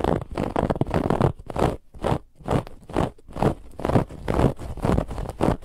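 Long nails on both hands quickly scratch a soft, stuffed white fabric pillow with a woven textured band across the middle. The result is a rough, crackly scraping that runs almost continuously at first, then breaks into quick, uneven bursts of brushing friction, each with a low thump beneath it.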